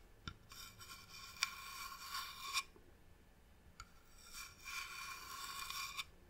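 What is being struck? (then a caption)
Varnished wooden box. Long nails tap and scratch the top surface of a medium, hollow, varnished wooden box. A few sharp taps are followed by two bursts of bright, rasping scratching, each lasting about two seconds, separated by a quieter pause.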